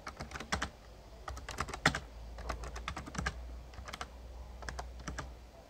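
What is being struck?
Plastic membrane keyboard.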